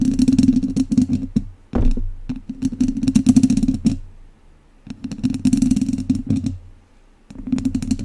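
The tips of two wooden chopsticks scratch the sides of a hollow metal mesh microphone grille in four bursts of rapid, close-up scraping separated by short quiet gaps. Each pass has a boomy, hollow resonance around 260 Hz under crisp, bright crackles and taps.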